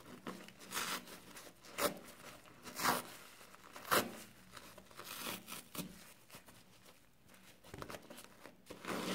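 Fingertips squeeze a soapy foam kitchen sponge and rub and scratch its green abrasive scouring pad. The result is a quiet run of irregular, bright, rasping scratches and wet crinkling, with a few sharper swipes standing out.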